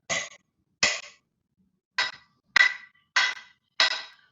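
A pen taps six times on the metal base of a desk to show timbre, since the metal base sounds different from the desk's wooden top. Each tap is a short, bright, clicky knock with a faint ring around 2 kHz that dies away quickly. The taps come at irregular intervals with gaps of silence between them.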